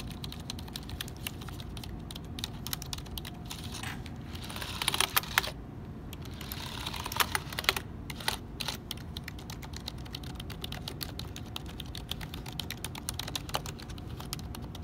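A black HP plastic keyboard on a wooden desk is tapped and pressed by fingertips on its hollow plastic keys, including the number pad. Dense, rapid, bright clicking runs steadily over a low hum, with a few louder, sharper bursts around the middle.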